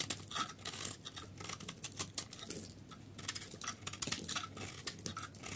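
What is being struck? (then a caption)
Bar of soap scraped with a knife blade. A solid yellow dry soap bar held in the palm has its edges scraped and shaved with a utility knife blade, breaking off crumbly flakes. A rapid series of crisp, bright, scratchy scrapes and crackles follows, each dying away almost instantly over a faint low hum.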